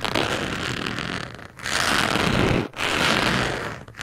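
A small white carving tool, held in a hand with long yellow-and-black nails, scratches and traces across the rough surface of a flat, solid round cork coaster lying on a dark surface. The sound is a dry, bright, raspy scrape in long sustained strokes, separated by brief pauses.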